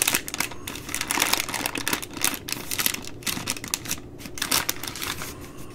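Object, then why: Baby wipes pack in plastic film. Long nails tap and scratch the side of the plastic film overwrap on a full three-pack of baby wipes. The result is a dense run of bright, crinkly clicks and scrapes with brief louder bursts and very little low end.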